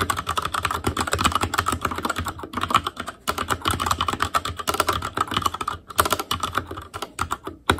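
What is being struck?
Plastic mechanical keyboard.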